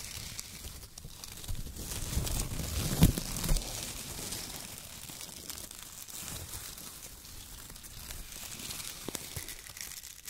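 Hands crumple and pull bunches of thin brown strips of shredded kraft paper. The result is continuous crinkling and rustling, with a louder burst of crackles around the third second.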